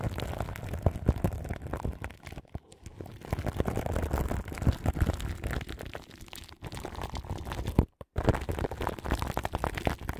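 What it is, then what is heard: Plastic-wrapped microphone being scratched. Long nails and fingertips scratch and rub the crinkly plastic film wrapped around a large microphone's grille. The result is a dense, continuous crackle of rustling and scratching, heavy in low rumble, with many quick crinkles. Brief near-silent gaps fall around the middle and near the end.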